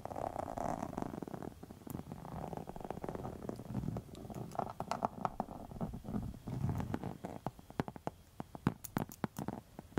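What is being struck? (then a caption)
Faux leather wallet. Long metal nail tips scratch across a pink textured faux leather wallet, making a low, rumbling, purr-like scraping. The scraping is broken by many sharp, brief ticks that grow more frequent toward the end.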